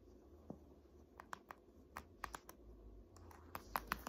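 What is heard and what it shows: An "Art History" hardcover textbook is turned from its front cover onto its spine, and long nails tap and scratch its laminated cardboard. Short, sharp clicking taps around 1 kHz with bright edges are heard, spaced irregularly and bunching together near the end. Soft scratching and a low, steady background rumble fill the gaps between them.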